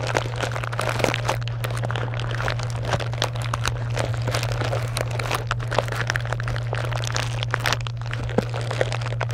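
Long acrylic nails tap and scratch across a box piled with small foil- and plastic-wrapped candy bars. Dense, crinkly crackles and quick ticks follow one another continuously over a steady low hum.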